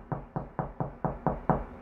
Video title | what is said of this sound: HOW TO FIND ANY WALL STUD! 3 EASY METHODS | there's a stud